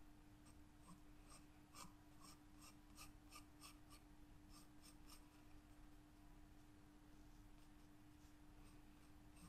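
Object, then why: Graphite pencil on a paper sketchbook page. A graphite wooden pencil, held by a hand with long yellow nails, scratches and draws lines across a white paper page of a spiral-bound sketchbook lying flat on a table. Quiet, bright, rasping pencil strokes come in a rhythmic series, then thin out. A steady low hum sits underneath throughout.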